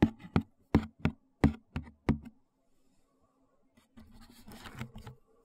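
Fingertips and nails tap the top and edge of a white cardboard shoe box, hollow and closed and held horizontally, giving a run of short, hollow knocks with a low, boxy body and almost no ring. After a brief near-silent pause, the nails scratch across the box in a soft, brighter, rustling stretch before it fades out.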